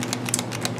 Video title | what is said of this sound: Tips for Building Hail Caesar Roman Troops | You hear that little clicking when I shake my canister?